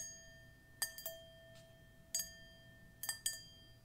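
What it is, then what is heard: Metal singing bowl. A hand-held dark metal singing bowl, hollow and empty and resting on a patterned cushion, is tapped and clinked six times by long pointed metal fingernail claws. Each contact gives a bright, glassy click over a steady ringing tone with high overtones that sustains between the taps.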